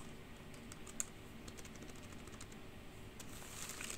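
Long pink nails and fingertips type and tap on the hollow keys of a black plastic computer keyboard. Quiet, bright plastic clicks and clacks come in a steady patter over a low, soft background hum, with one sharper tap near the start and a busier flurry toward the end.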